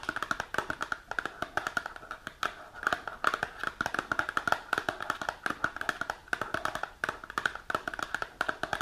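A small printed cardboard supplement box is held upright while long nails rapidly tap its front face. The result is a quick, continuous patter of dry, short clicks with a hollow mid-pitched resonance around 1.4 kHz and bright edges, each tap dying away almost instantly.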